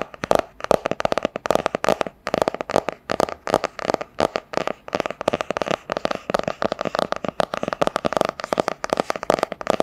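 A medium, solid hardcover book with a cardboard cover, printed grey-blue with a silver floral design, is held upright in front of the mic and tapped with long dark-painted nails. About 49 quick, dry taps follow one another in rapid bursts, each a short hollow knock centered around 600 Hz that dies away almost at once.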